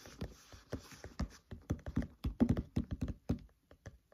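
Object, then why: Open paperback book pages. Fingertips tap quickly on the pages of an open paperback book lying flat. The dull, soft thuds sit mostly low in pitch and die away almost instantly, falling in an uneven rhythm before thinning out into a few quieter taps at the end.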